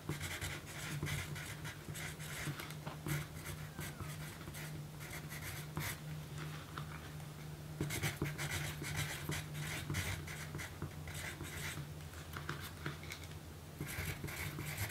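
A yellow pencil writes words on a small, thin pink paper note card resting on a dark table, scratching graphite across the paper. Bursts of dry, bright scratching come in quick strokes with short pauses, over a steady low hum.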